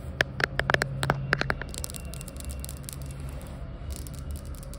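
Long white acrylic nails on both hands quickly tap and scratch a large, flat, solid floor tile with a glossy, reflective marble-look surface. A rapid run of sharp, bright clicks with a short tonal ring comes first, then fades into a softer, steady scratching with faint ticks over a low background hum.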